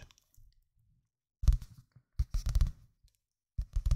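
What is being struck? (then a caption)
Paperback book with glossy paper cover. A medium-sized paperback book, possibly a manga or comic volume, with a glossy printed paper cover is held closed in both hands close to the microphone while fingertips with dark-painted nails tap and scratch the cover. Quiet, low, dull taps and soft scratchy rustles come in short bursts with silences between, after a few faint touches at the start. Each tap dies away almost at once.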